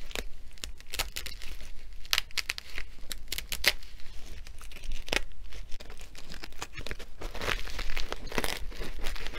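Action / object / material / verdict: scrape / filled nylon fabric sandbag / nylon fabric / none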